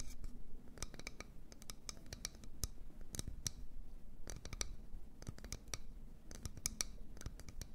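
An empty medium wooden bowl, held in both hands, is tapped and scratched on its outer wall with long nails. Quick, dry, bright clicks sound over a soft, steady scratching hiss. Each tap dies away almost at once, and the level stays low throughout.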